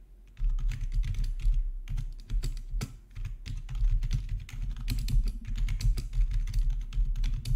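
Both hands type with their fingertips on a black plastic RGB backlit membrane keyboard resting on a marble surface. After a brief quiet start, a dense, continuous run of soft, muffled keystrokes follows, with deep, thuddy clacks that die away almost instantly. The typing keeps a steady, rapid rhythm to the end.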